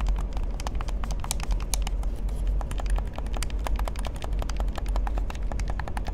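A hollow black plastic gamepad, held in both hands, is tapped and clicked on its buttons and body by fingertips and nails. Rapid, crisp, bright clicks and taps follow one another continuously over a steady low rumble for about six seconds.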